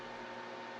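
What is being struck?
Nothing is struck.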